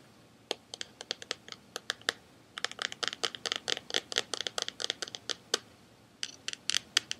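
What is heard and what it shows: Fingertips and short nails tap and scratch the glossy printed cardboard slipcase of a hand-sized, rectangular Buffy the Vampire Slayer DVD box set, likely hollow with cases inside, held up in both hands. Dozens of quick, dry, bright clicks and scratchy ticks come in uneven bursts, with short pauses between runs. Each one stops at once with no ring.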